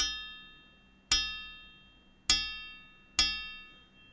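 The steel blade of a European arming sword, rebuilt from an old longsword whose tang broke and fitted tightly into a hand-forged guard, pommel and handle, is flicked three times, each flick giving a bright, clear metallic ring that slowly fades, with the ring of an earlier flick already fading at the start. The long, high ringing tone marks the blade as tightly fitted in its hilt, unlike the dull sound of a loose sword.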